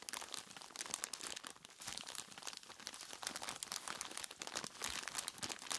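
A large clear plastic bag full of ice cubes is squeezed and scratched by hands in skeleton-claw gloves with long tips. A steady stream of bright, dense crinkling and crunching runs throughout, with almost no low end. The clicks and crackles are sharp and dry at a fairly quiet level.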